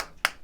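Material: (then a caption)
Plastic. Knocks on the plastic back cover of a Redmi Note 13, which has a faux-glass finish, give two short, bright taps that die away almost instantly. The knock sounds hollow and feels less solid and sturdy than the glass back of the cheaper Redmi A3.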